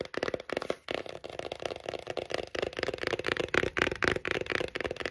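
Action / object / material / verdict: tap / cardboard palette / cardboard / none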